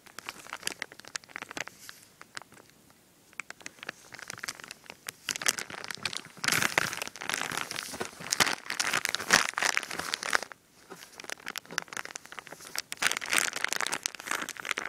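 A full, medium-sized white plastic bag of powdery pretzel dough mix is squeezed and crinkled by fingertips and a palm pressed against it. Many dense, bright crinkles and crackles come in bursts, with louder stretches of crumpling around the middle and near the end and brief quieter pauses between them.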